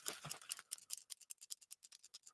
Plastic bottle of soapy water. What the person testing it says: listen to how you'll hear the water stop sloshing around